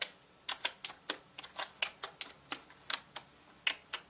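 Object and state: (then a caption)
Plastic mechanical keyboard typing. Fingertips of both hands type on a full-size black plastic mechanical gaming keyboard with plastic keycaps, producing about fifteen sharp, bright clicks at an uneven pace. Each keystroke snaps off almost instantly, with its energy concentrated in the high range around 2.9 kHz and no low thump, over near-silence between strokes.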